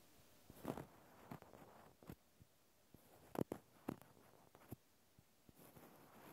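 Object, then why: Natural cork stopper. A small solid natural cork stopper is held in the hand while fingertips tap its flat top. The result is a scattered series of soft, dull, muffled taps that die away almost instantly, set against a very quiet background with faint rustling between them.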